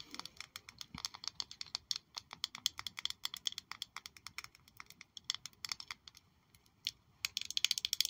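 Long nails tap a small black glossy glass perfume bottle shaped like a high-heel shoe with a red sole, held in one hand. Quick, bright, clicky taps with almost no ring come in an uneven patter. They thin out to a brief lull and finish in a fast, dense flurry.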